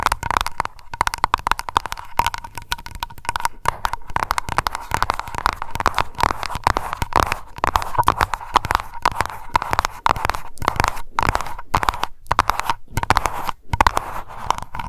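Long nails tap rapidly on a small glass aroma candle jar labeled Lavender and filled with wax. The result is a dense, continuous stream of short, dry clicks, each carrying a faint glassy ping near 1 kHz that dies away almost instantly.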